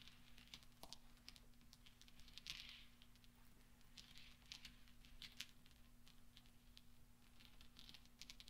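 A pile of small solid steel pachinko balls on a velvet cloth is rolled and gathered by both hands with the fingertips. Quiet, bright metallic clinks and soft rolling sounds come in quick, scattered bursts over a steady low hum.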